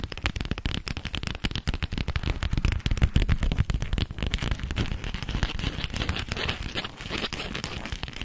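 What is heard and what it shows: Long acrylic nails tap and scratch a thin, flexible, yellow polka-dot sheet of beeswax-coated cotton food wrap held in front of the microphone. The result is a dense, irregular stream of sharp, crackly taps and crinkles with a heavy low thump, with almost no ring after each hit.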